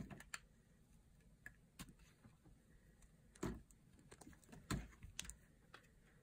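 A solid green bar of dry soap, held in the hand, is sliced into curls with a small blade. Irregular, short crunchy scrapes and clicks sound over a quiet background, with a few louder, fuller cuts near the middle and end.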